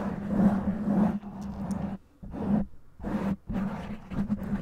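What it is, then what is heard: Foam microphone windscreen being scratched. Long nails slowly scratch and rub a black foam windscreen on a microphone with both hands. Heard up close as muffled, rustling scratching in uneven bursts with brief quiet gaps, over a steady low hum near 200 Hz.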